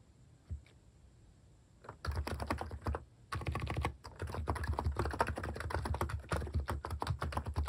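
Fingertips type on a plastic mechanical keyboard with cat-shaped keycaps, near the Insert and Delete keys. A couple of lone taps give way to a burst of fast typing, a short pause, then steady continuous typing. The keystrokes are short, deep, thocky clacks with little high-end click.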